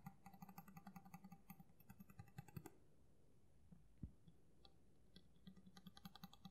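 Fingernails tap on the flat of a solid steel kitchen knife blade, held horizontally, with a black handle. A quick run of light, dry clicks with bright metallic overtones stops in a near-silent middle stretch broken by one louder tap. The tapping then picks up again, each click dying away almost instantly.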